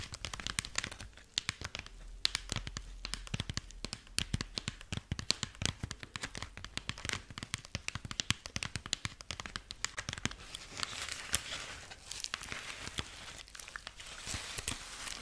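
Long nails scratch and squeeze the dry husk body of a dried corn husk rabbit figurine held close. Dense, crisp crackling and crinkling fill the clip, with rapid sharp clicks. Toward the end it shifts into a more continuous, bright, rustling scrape.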